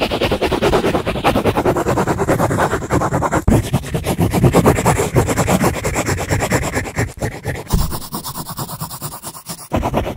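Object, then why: Paperback book pages. Fingers rub and riffle the white pages of an open paperback book held close, a solid stack of paper. Rapid, uneven papery scratching and brushing continues throughout, heavy in the low range with short dry strokes. There are brief dips near the middle and the end.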